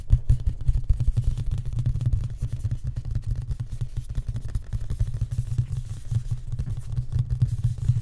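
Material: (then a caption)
Wood. Fingertips and short nails of both hands tap rapidly on a raised-panel wooden cabinet door with a bevelled frame and a large, flat, solid panel. The result is a continuous, dense patter of soft, dull knocks centred low, around 120 Hz. Each tap dies away almost instantly, with almost no bright click.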